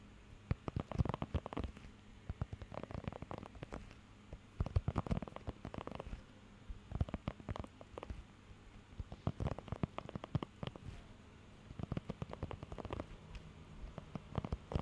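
Fingertips and nails scratch across the nubs of a blue rubber pet hair grooming glove. The result is quiet bursts of rapid, dry, crackling taps and rubs with a soft, low-heavy body, separated by brief near-silent pauses.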